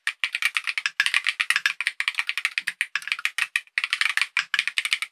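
Fingertips of both hands type rapidly on a compact KiiBOOM Phantom 68 mechanical keyboard with tactile switches, clear plastic keycaps and a hollow, clear purple acrylic case, resting on a desk. Around thirty quick, bright clacks in fast bursts carry most of their energy near 2.5 kHz and above, with almost no low end. Each click dies away almost instantly.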